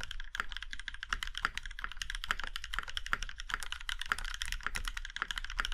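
A compact mechanical keyboard with a plum-red aluminum case and black keycaps is typed on with the fingertips of both hands. A steady run of short, sharp key clacks and taps comes through, with a bright midrange click and a low thump under each stroke.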